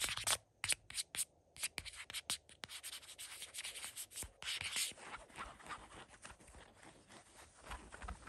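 Fingertips and nails scratch and rub a flat, thin, folded peach cotton dish towel with an orange print and its yellow paper label still attached, lying on a white blanket. Short, separate bright, dry scratches come first, then they merge into a denser, continuous hissing rub of the fabric.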